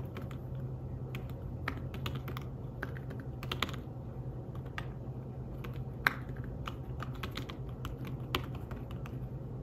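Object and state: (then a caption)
Fabric-covered tablet keyboard being typed on. Fingertips type steadily on a thin, flat, grey fabric-covered folio keyboard for a tablet. Soft, short, muffled key taps with quick, dry clicks come in irregular bursts over a constant low hum.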